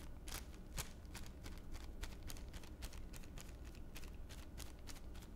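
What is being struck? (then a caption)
Thin plastic bag. A thin clear plastic bag lying on one palm is pressed and crinkled with the fingertips of the other hand. The result is a dense run of quick, bright crackles over a steady low rumble, staying at an even, quiet level throughout.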